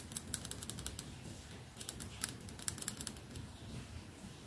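Fingertips and nails tap the flat, red lacquered back of a solid wooden hairbrush held in front of a lavalier mic. The result is a quick, irregular series of short, dry, bright clicks with almost no ring, over a soft low rumble.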